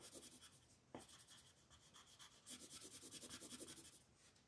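A wooden colored pencil is rubbed repeatedly over a flat paper coloring book page held by a hand with long nails. Quiet, bright, scratchy strokes hiss across the paper, with a sharper tick near the one-second mark. A quicker run of rhythmic back-and-forth scribbles follows before the sound settles back to a soft rub.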